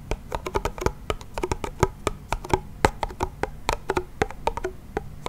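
A small wooden toy pellet drum, a hollow drum with a wooden frame and a white head, is twisted and shaken so its beads knock against the heads. The result is a quick, uneven run of short, dry, hollow taps with a muted woody tone around 420 Hz and almost no ring.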